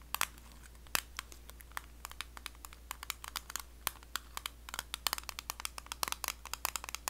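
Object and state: Metal cream tin.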